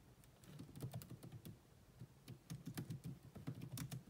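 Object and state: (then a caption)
Plastic laptop keyboard. Two hands type with long nails and fingertips on a grey laptop keyboard with black plastic keys. Quick, soft taps mix low thuds with bright, short clicks that die away almost at once. They come in two rapid bursts separated by a quieter pause.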